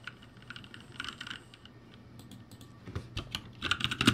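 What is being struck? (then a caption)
Mechanical keyboard with plastic keycaps. Both hands type rapidly with their fingertips on a backlit ROCCAT G65 mechanical keyboard with plastic keycaps. The result is a quick, uneven stream of sharp, bright clicks over a low thock, starting soft and getting louder and denser toward the end.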